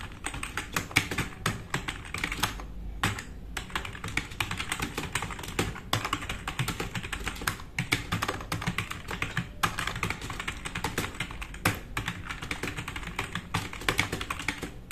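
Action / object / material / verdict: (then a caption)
tap / mechanical keyboard with plastic keycaps / plastic / none. Both hands type fast on a compact RGB-backlit plastic mechanical keyboard with black plastic keycaps, resting on a wooden desk. A dense, continuous run of sharp, short clicks and clacks plays with a low thock underneath and bright key rattle on top, with only brief pauses between bursts.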